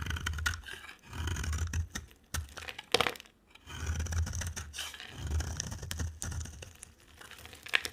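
A utility knife blade scrapes and shaves a solid, dry soap bar with an orange rim and white interior, with flakes piling up below. Bursts of rough, gritty scraping alternate with short pauses and sharp bright snaps as the blade catches and chips the soap.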